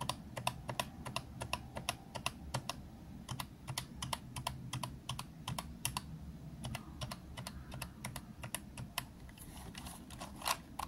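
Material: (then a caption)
Plastic. A fingertip taps the round plastic keys of a green plastic retro calculator one by one, then both hands press several keys rapidly. Dozens of short, sharp, bright clicks ring out over a steady low rumble, each dying away almost instantly.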